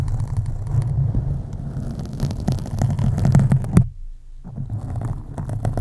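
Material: Foam.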